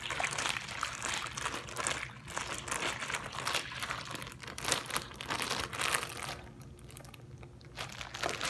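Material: Plastic.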